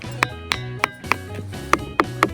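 On Iki Island, a roadside stone is struck with another local stone, giving sharp, bright metallic clinks that ring like iron. Seven distinct strikes are heard over steady background music. The stone's unusual metallic ring is thought to come from some component in the rock.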